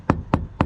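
Three taps on a fiberglass bow deck with a balsa core, around a removed fitting where the core shows visible rot. Each tap is a short, dull, low knock with almost no ring. The spot sounds hollow because the balsa core has rotted.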